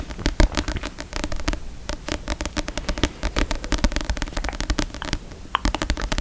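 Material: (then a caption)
Paper. Fingers tap rapidly and unevenly on a book, producing many short, dull thuds with a deep low body and quick decay. A faint scratchy, papery texture sits between the taps.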